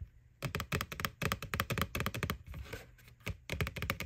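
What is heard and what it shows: Long nails tap quickly and unevenly on the side wall of a small hollow white plastic ghost Halloween candy bucket near its McBoo label. The taps are short, dry plastic clicks with a hollow low thump and a bright edge. A brief softer scratchy stretch breaks them up before the tapping resumes.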